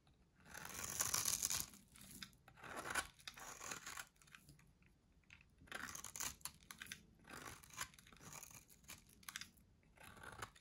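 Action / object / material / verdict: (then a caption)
scrape / bar of soap cut with a metal blade / soap / none. A solid, pale, dry white soap bar held in the hand is shaved with a metal box-cutter blade. Bursts of dry, crunchy scraping and carving come in uneven strokes separated by short pauses. The sound is bright and crisp, with almost no low end.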